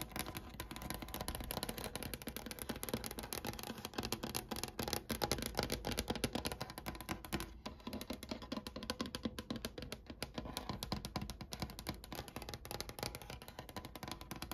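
Long nails tap and scratch across the top of a large solid wooden desk with a brown grained finish, first with both hands and then with one. The result is a steady, dense flurry of quick, dry clicks with short decays, layered with a soft scratching hiss that runs through the whole clip.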